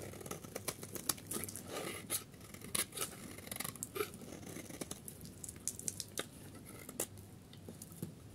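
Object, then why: Bar of soap scraped with a metal blade. A solid oval yellow bar of dry soap, held in the hand, is scraped with a metal craft-knife blade, and curls and crumbs fall away. The result is a quiet, steady run of dry, crisp scraping and crunching ticks with a bright, papery edge, each one dying out almost instantly.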